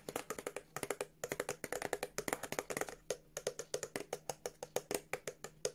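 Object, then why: Paperboard product box. Long nails tap and scratch a small white and blue printed paperboard Revolution Beauty body exfoliator box with a window and the product inside. The result is a run of 39 quick, dry, clicking taps with very short decay, bunched in irregular bursts with brief pauses, and soft scratching between them.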